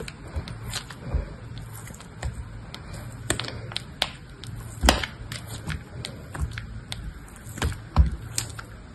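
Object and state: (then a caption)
Dried soap cube being scraped. A metal blade scrapes and shaves the edges and faces of a hand-held cube of dried grey soap a few centimetres across. Short, dry scraping strokes and crisp, bright clicks arrive at an irregular pace over a soft, low rumble, each one dying away almost instantly.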